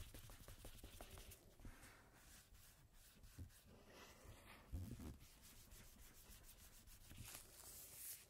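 A single thin coated-cardstock playing card lies flat, back side up, and is rubbed repeatedly with a cotton swab held in a red-gloved hand. The result is a quiet, continuous soft rubbing and scraping, weighted toward low frequencies with faint bright streaks, and a slightly louder brushing bump just before the five-second mark.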